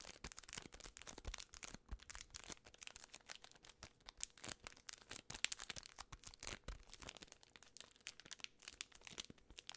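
A full Twix bar in a plastic film wrapper is crinkled and scratched by fingertips and long red nails. Dense, bright crackling and rustling come in rapid, uneven bursts throughout, with little low end and no lingering ring.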